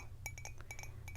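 Fake nails tap repeatedly on a Seattle Starbucks souvenir mug, giving short, bright clinks with a ringing tone around 2.3 kHz over a steady low hum. The taps are quick and close together and die away almost at once, sounding like glass or ceramic.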